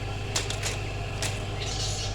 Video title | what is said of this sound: -Crispy pakora platter -pakora mix recipe -palak pakora -onion rings -baingan pakora - | आपको इनकी आवाज से पता चल रहा होगा की यह किस कादर क्रिस्पी है